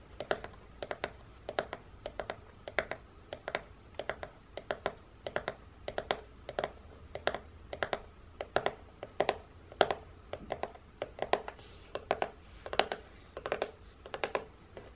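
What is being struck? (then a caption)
Printed cardboard biscuit box. Long painted nails tap quickly on the end panel and side of a hollow, printed cardboard biscuit box. The result is a fast, steady run of short, dry clicky taps with a hollow midrange knock, little low end and no ring after each tap.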